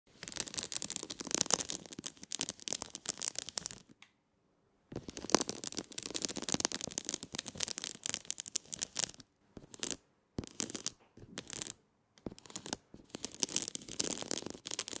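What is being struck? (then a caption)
Metallic foil mosaic sheet scratched with fingernails. Long nails scratch and tap across a shiny silver sheet covered in a grid of small square mirror-like tiles. Dense, bright, crackly scratching comes in bursts separated by short silences, with almost no low end.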